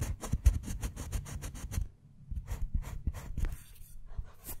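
A metal carving blade with a wooden handle scratches lines into one square of a segmented solid dark chocolate bar, lifting shavings. Quick, dry, close scraping strokes come in a rapid run, then pause briefly and resume more unevenly.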